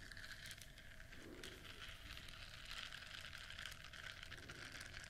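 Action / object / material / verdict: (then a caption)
scrape / silicone bristle scrubber / silicone / none. A flat yellow silicone duck-shaped scrubber with bristles, held in both hands, is scratched with long nails. A steady, soft, bright scratching rustle with dense crackly texture runs throughout, over a low rumbling background.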